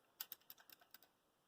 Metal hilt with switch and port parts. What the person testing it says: if I shake this too hard, these rattle around. These are not very secure.